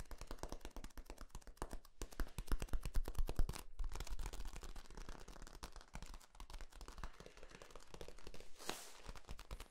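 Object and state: Corrugated plastic tube.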